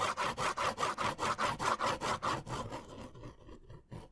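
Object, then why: Paper sketch pad scratched with a pen. A pen is rubbed back and forth across a white paper sketch pad held in the hand, making a rhythmic, sawing-like scratch. Twelve quick, even strokes are heard, centred around 1 kHz with a bright hiss. They then fade into quieter, looser scratches, with one last soft stroke at the end.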